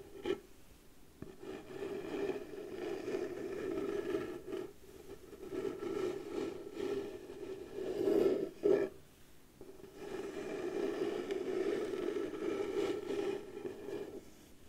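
Slow scratching on a wooden surface, heard as a steady rasping scrape with a mid-range tone, in long strokes separated by short pauses. The scraping swells and fades, with a brief louder burst near the middle before it settles back into even strokes.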